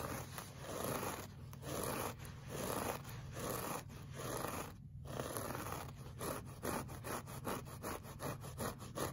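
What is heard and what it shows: A flat, solid beige looped-pile woven rug is scratched with the short fingernails of both hands. Dry, scratchy rubbing strokes repeat at an uneven pace, quickening into shorter, tighter bursts toward the end. The sound is mostly low and midrange with little high sheen.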